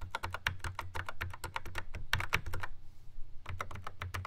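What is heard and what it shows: Fingertips tap across the plastic pads of a Yamaha RX11 drum machine in a black plastic housing. The result is a quick run of short, dry, clicky taps over a steady low hum. The tapping pauses briefly near the end before resuming.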